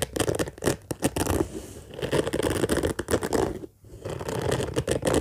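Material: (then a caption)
Fabric. Fingernails scratch and pinch at the surface of an orange padded fabric case with a zipper, making a dense run of rapid, dry scratching and rustling with many short peaks. A brief quiet gap falls just before the scratching resumes.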